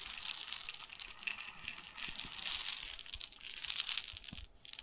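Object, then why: Plastic bottle of seeds. A clear plastic bottle about 25 cm long with a yellow-green cap, full of small brown seeds or grain, is held in both hands and rubbed, scratched and tilted with the fingertips so the seeds shift inside. The result is a dense, bright, crackly rustling with almost no low end, swelling and fading in uneven waves before briefly dropping away near the end.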